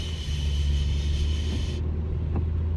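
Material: Nothing is struck.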